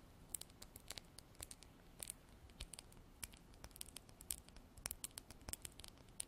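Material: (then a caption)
Glass. A small clear glass bottle with a white plastic pump top, held sideways, is tapped and scratched with long black artificial nails. Quick, sharp, bright clicks and taps come in an uneven, rapid patter over faint scratching, each hit dying away almost at once.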